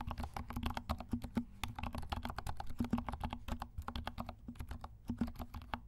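Fingertips of both hands type on a compact 68-key mechanical keyboard with dark plastic keycaps and silent switches. It makes a rapid, steady stream of soft, muted, thuddy key presses that die away almost at once, over a faint low hum.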